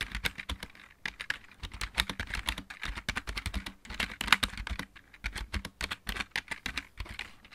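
Fingertips of both hands type steadily on a full-size backlit mechanical keyboard with plastic keycaps. The result is a fast run of sharp, bright plastic clacks with a low thock beneath each keystroke. Brief pauses near one, four and five seconds break up the bursts.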